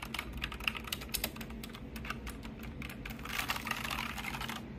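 Fingertips type on and tap across the plastic keycaps of a pink backlit full-size mechanical keyboard. The result is a quick run of short, bright clicks that stop almost instantly. Over a faint low hum, the clicks blur into a denser clatter near the end.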